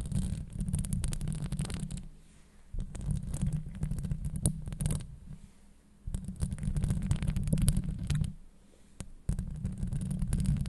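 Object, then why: Steel mesh microphone grille. Long blue acrylic nails scratch over the top and sides of a hollow woven steel microphone grille. The result is a deep, booming rumble with crackly bright ticks, coming in bursts of scraping separated by brief quieter pauses.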